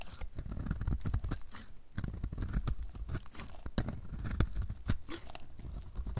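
A utility knife blade cuts into a solid, dry, light blue oval soap bar, peeling off curled shavings. Dense, dry crunching and scraping crackles repeat rapidly with sharp bright snaps over a low, muffled body.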